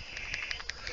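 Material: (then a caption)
Metal. A vape mod holding a 21700 battery is shaken, and the loose battery rattles inside with five quick, bright clicks against a low, steady background hum. The rattle is judged to be far too much, a fault for a mod that should hold its battery snugly.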